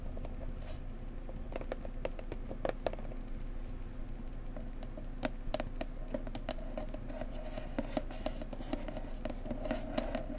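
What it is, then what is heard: Cardboard box tapped with nails. Long nails tap and scratch-tap on the sides and front of a blue floral cardboard gift box. The taps are soft, quick and dry, with a hollow mid tone and brief bright clicks. They come in irregular bursts over a steady low background hum throughout.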